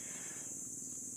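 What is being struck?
Nothing is struck.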